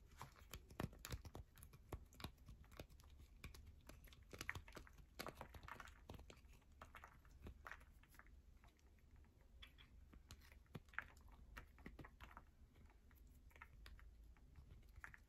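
A solid, hand-sized yellow bar of soap held in the hands over a purple mat is scratched and tapped fast by long manicured nails, leaving soap shavings. A quiet, steady stream of dry, crackly scratches and short clicky taps sounds, with bright bursts that rise and fall over a low hum.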